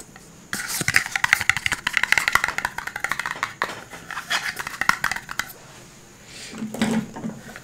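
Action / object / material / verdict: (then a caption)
tap / cardboard phone box / cardboard / none. Fingertips tap a rigid, hollow, dark blue printed cardboard smartphone box held above the microphone, producing rapid, dry, hollow clicks with a bright edge and almost no ring. The tapping runs in quick bursts for about five seconds, pauses, then gives way to a softer, quieter scratching patter near the end.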